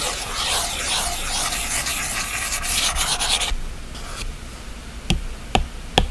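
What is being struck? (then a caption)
Glass tablet screen and plastic stylus tip. The plastic tip of an Apple Pencil rubs and strokes steadily across the glass of a large iPad screen lying flat with its display black, making a bright, hissing scrape for about three and a half seconds. The rubbing then fades to a faint whisper, followed by three sharp, clicky taps of the tip on the glass near the end.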